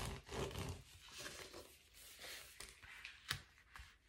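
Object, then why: Foil bubble padded envelope. A blue metallic foil bubble padded mailer is held and then laid flat on a table while fingertips scratch and tap its bubbled surface. Soft, crinkly scratching and rustling run throughout, broken by a few sharper, brighter taps. The sound stays quiet and close, with short crackles that die away quickly.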